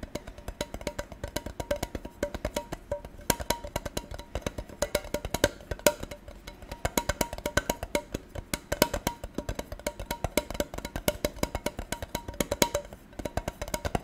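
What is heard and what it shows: A gold tin container is tapped rapidly and continuously for about fourteen seconds. Each tap gives a short, hollow metallic click with a faint ring around 600 Hz, and the bursts vary in loudness throughout.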